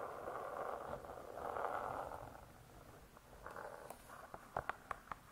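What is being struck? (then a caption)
Laminated hardcover book cover. Long nails scratch across the closed laminated cover of a spiral-bound hardcover cookbook, making a soft, steady midrange scraping for the first few seconds. The scratching fades, then gives way to a run of short, sharp nail taps on the cover near the end, all at a quiet level.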